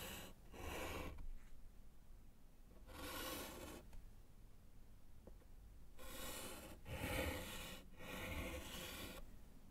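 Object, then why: Chalk on slate chalkboard in wooden frame. A gloved hand writes with yellow chalk on a small, flat, solid slate chalkboard set in a wooden frame. Several bursts of dry, rasping chalk scratching and rubbing spread from low rumble up into high, bright hiss, with quiet pauses between strokes.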